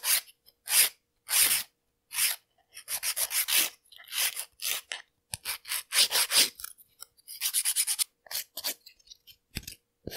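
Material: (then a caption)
Polygel. Long clear polygel nail extensions are filed with a white and black emery-board nail file, rubbed back and forth across the nail tip and surface. The result is repeated bright, dry rasping strokes in short bursts and rapid runs, with brief gaps between them.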